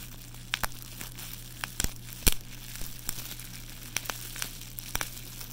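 A loose sheet of clear plastic bubble wrap is held in bare hands, crumpled, squeezed and rubbed between the fingers and palm while fingertips press the air bubbles. Scattered sharp, bright crackles and pops stand out over a soft crinkling rustle, with the loudest snap near the middle. A steady low hum runs underneath throughout.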